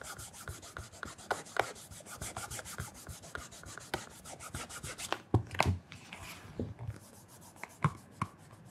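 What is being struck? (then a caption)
Leather shoe upper rubbed with a cloth. A black leather loafer is held on a counter while a cloth wrapped around the fingertips rubs and polishes the leather upper near the toe. Quick, steady, soft swishing strokes repeat throughout, with a few sharper knocks and scuffs standing out midway and near the end.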